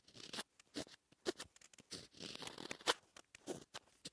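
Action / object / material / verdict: scrape / black-coated scratch-art paper with a wooden stylus / coated paper / none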